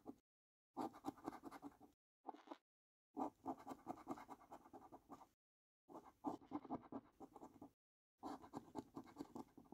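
The edge of a coin scratches across the middle panels of a paper lottery scratch card in quick, rough bursts separated by brief silent pauses. The scraping is dry, raspy and midrange-heavy, with little low end and no ringing after each stroke.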